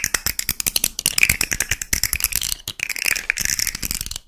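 A small rainbow plastic fidget slug with hollow, jointed segments is handled, then held dangling while long nails scratch and flick its segments. About two dozen quick, dry, bright clicks and rattles follow in a rapid, uneven patter, centred around 2.4 kHz with little low end. Each click dies away almost instantly.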